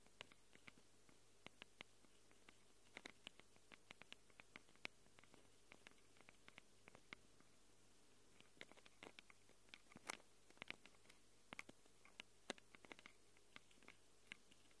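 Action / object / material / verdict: scrape / handheld recorder microphone capsules, plastic and metal / plastic, metal / none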